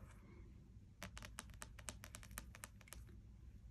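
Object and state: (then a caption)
Spiral-bound paperback puzzle book. Fingertips and long nails tap rapidly across the glossy card cover of a closed, spiral-bound paperback wordsearch puzzle book with plastic coil binding, lying flat on a wooden desk. After a second of quiet low background hum, a quick run of sharp, bright clicks follows, each dying away almost instantly.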